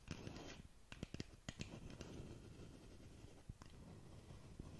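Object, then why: Cardboard cosmetic box. Long nails tap and scratch the surface of a long, narrow black cardboard lip gloss box held close to the mic. A brief dry scratching opens the clip, followed by a series of sharp, quick taps with almost no ring over a low, rumbling background.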